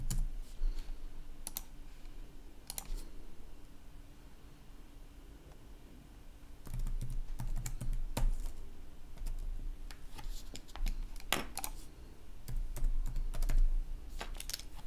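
Both hands type with their fingertips on a red-backlit plastic laptop keyboard, producing soft, irregular bursts of short clicking keystrokes. The typing thins out to a quieter stretch in the middle, then picks up again in denser clusters over a steady low background hum.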